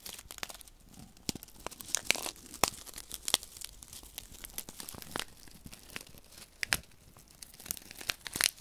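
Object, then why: Paper sachet of silica gel beads. Fingertips rub and crinkle a small, flat paper silica gel desiccant sachet filled with silica beads, held between the fingers. It makes a dry, bright, papery crinkling with a rapid series of sharp, short crackles and snaps over a faint hiss. There is almost no low end.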